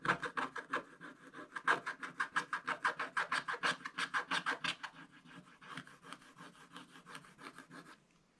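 A wooden stick scratches the black coating off a coloured card page in a spiral-bound scratch-art book, the thin page lying flat and solid on a table. About 30 short, dry rasping strokes come at roughly three per second, bright and scratchy with a pitch near 1.6 kHz. The strokes grow softer and thinner after the first five seconds and fade to quiet at the end.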